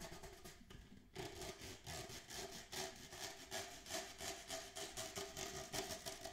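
Fingernails scratch and rub the ridged sides of an empty, hollow red plastic party cup held near the camera. After a brief quiet moment near the start, quick rhythmic strokes follow one after another, each a bright, rasping scrape. The hollow cup adds a faint ringing tone beneath the scratches.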